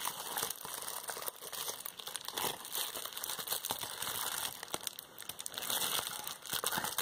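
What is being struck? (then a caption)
Plastic bubble wrap sheet. A hand-sized, crumpled piece of clear plastic bubble wrap with air-filled bubbles is held in both hands and squeezed and pinched with long painted fingernails, popping bubbles and crinkling the sheet. The result is a steady, bright, dense crinkle with little low end, scattered with sharp popping clicks and crackles.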